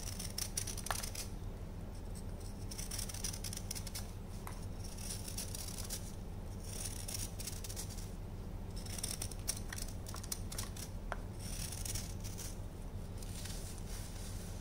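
A solid orange chunk of dried baking soda, held by fingers, is scraped with a patterned knife, shaving it into a white tray filled with powder. Crisp, dry scraping and crackling fill the clip over a steady low hum.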